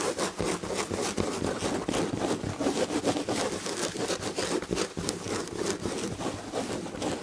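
Long red-painted nails of both hands scratch the damask chenille fabric on the back of an upholstered chair. The result is a continuous, dense, rhythmic scratching and rubbing texture with bright high hiss over a soft midrange body, steady in level throughout.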